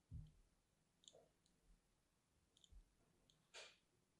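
A thin metal needle scores and scratches lines into a small solid bar of orange-and-white striped soap held in one hand with long painted nails. Six quiet, separate contacts are heard: soft low thumps and short bright clicks, ending with a brighter, longer scraping scratch.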